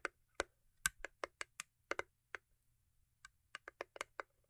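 A small, hollow cube gift box made of cardboard covered in holographic paper is tapped and scratched on its top with long acrylic nails. About sixteen quiet, crisp, hollow clicks land in an irregular rhythm, with a bright edge and almost no ring. A faint low hum sits underneath.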